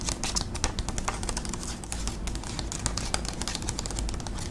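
Long acrylic nails tap quickly on a flat, thin white paper envelope held in one hand. The result is a rapid, steady stream of short, crisp, bright clicks over a low, constant hum.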